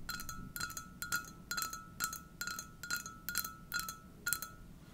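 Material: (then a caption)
Ceramic. Long dark-painted nails tap and scratch on an empty, hollow white ceramic coffee mug with a sunflower print, held close to the mic. Bright clinks come in about nine quick bursts at a loose, steady pace. Each burst carries a short ringing tone and high sparkling overtones over a faint low background hiss.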